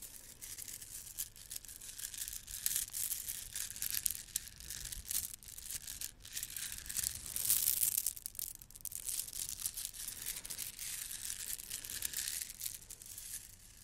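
A bunch of gold plastic beads from a bead garland is cupped in the hands and rubbed together with long nails close to the mic. It makes a steady run of quiet, bright clicking rattles that swell and ease over the clip, with almost nothing in the low end.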